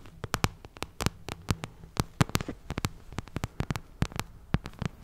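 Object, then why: Vinyl cosmetic pouch. Long nails tap and scratch across the glossy plastic of a pink vinyl cosmetic pouch, making about 25 quick, dry clicks in an uneven rhythm. The clicks die away almost instantly, over a faint, steady low hum.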